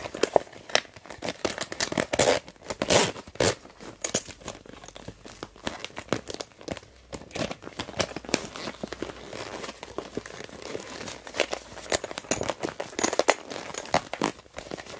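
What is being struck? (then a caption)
Plastic pencil case. Hands with long nails crumple a translucent blue plastic pencil case and work its orange zipper. The result is a dense stream of crisp plastic crinkles and crackles, with the zipper rasping between them. The sound is dry and close, with no ring-out.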